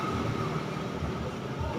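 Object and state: Nothing is struck.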